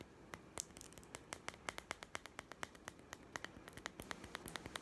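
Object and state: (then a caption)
Plastic toy food tin. A small hollow plastic toy food tin with a printed blue label is held in the hand and tapped rapidly with fingertips and nails. It gives a quick, uneven run of about thirty short, bright, clicky taps that die away instantly over a faint background hiss.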